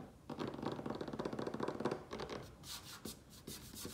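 Fingertips and nails of both hands tap and scratch quickly on a solid butcher-block style wooden tabletop with some loose soil on it. A rapid patter of dull taps is mixed with dry scratching, shifting toward brighter, hissier scrapes near the end.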